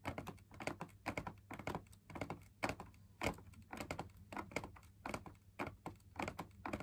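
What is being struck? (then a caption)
Fabric-laminated drum lamp shade. Fingers tap the outer wall of a hollow, perforated, fabric-laminated drum lamp shade, heard from inside the shade. The taps come as quick, irregular clusters of soft, dull thumps that die away almost at once, over a faint steady low hum.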